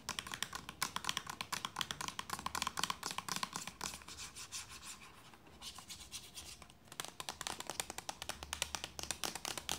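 Long nails scratch and tap a hollow white plastic lotion bottle with a red plastic cap near the cap end, making rapid, bright, dry clicks with very little ring. The tapping eases into a softer, quieter scratching stretch midway, then returns to fast, sharp taps.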